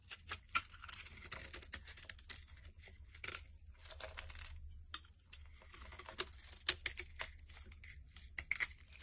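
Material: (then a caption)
Soap. A solid brown bar of soap, held in the hand, is carved with a box-cutter blade into crumbly chunks. The sound is a quiet, dry scraping and crackling with many sharp, bright crunches and ticks as the blade bites in and pieces break away, over a faint low hum.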